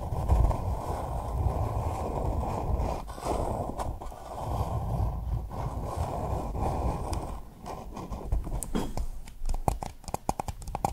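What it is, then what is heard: Paper cup tapped with nails. A small, hollow pink paper cup sits upside down over a microphone while long nails tap and scratch its base and sides. For most of the clip the sound is a dense, muffled, low rumbling scrape. It ends in a run of sharper, separate clicking taps.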